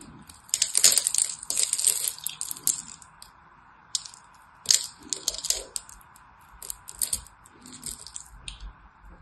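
A small knife cuts and scrapes the edges of a solid orange-and-white striped soap bar held in the hand. Bright, crisp crackling and scraping bursts come in clusters, the loudest early on and weaker ones later, over a faint steady mid-range hum.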